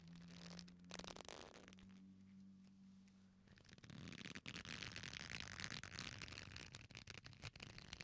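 An old black leather belt, a flat solid strap folded into a loop, is squeezed and rubbed between the fingertips of both hands close to the microphones. It gives soft, intermittent creaks over a low steady hum for the first few seconds. It then builds into a louder, dense, bright rubbing and creaking that continues to the end.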